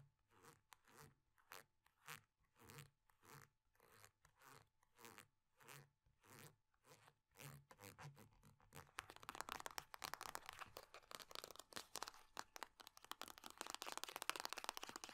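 Long nails scratch and tap a small, crinkly, partly squeezed metal-laminate (foil-laminate) hand cream tube, pressing it against cloth. Rhythmic crunchy crinkling bursts come at a steady pace, then give way to fast, dense, bright scratching that grows louder toward the end.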